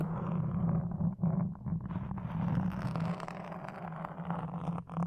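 Wooden toothpicks held in the fingers scratch across a black foam windscreen on a red microphone. The result is a close, continuous scratchy rustling with a steady low hum underneath and a few brief pauses.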